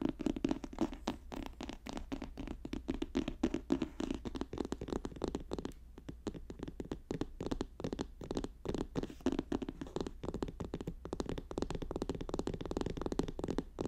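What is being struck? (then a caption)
Paper notebook. Fast tapping and scratching on a paper notebook make a dense stream of short, dry taps and scrapes, warm and mid-low in tone with little brightness. The taps come too quickly to count, at a soft, even level across the clip.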